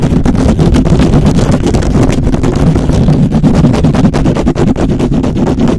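Fingertips of both hands scratch fast across the hollow metal mesh grille of a black microphone. The result is a loud, dense, continuous rasping with heavy low-end rumble and rapid scratchy strokes that blur together without pause.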